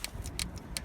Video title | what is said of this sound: JCB fuel problem, you won’t believe it! SOLVED pt2 | you can hear the solenoid clicking on and off